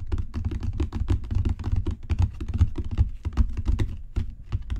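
Fingertips and long natural nails tap rapidly and irregularly on a solid, dark brown genuine leather book cover with raised spine bands. The taps are soft, dull, low thuds with faint clicky edges, and each dies away almost instantly.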